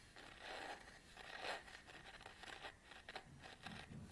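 Long nails scratch and rub the hard surface of a small round black plastic cap on the end of a camera lens held in the hands. The quiet scraping comes in uneven bursts with a bright, gritty texture and short, dry decays.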